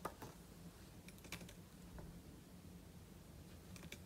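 Fingertips type on the plastic keys of a silver aluminum laptop keyboard, producing quiet, short, sharp key clicks with bright, dry ticks. A steady low hum runs underneath throughout.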